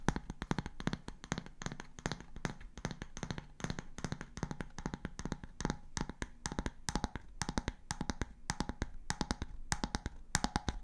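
Long grey-painted nails tap and scratch the round, light-wood bamboo lid of a glass storage jar held in one hand. A fast, continuous stream of dry, clicky taps has almost no ring, with a hollow low body around 164 Hz and bright scratchy edges.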